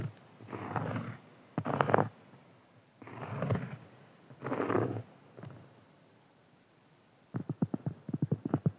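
A large, round, flat, solid cork board lying on a table is scratched and tapped with fingertips and nails. Four soft, hissing bursts of scratching are heard, with low, muffled rumbling and brief pauses between them. The clip ends with a run of quick, dull taps.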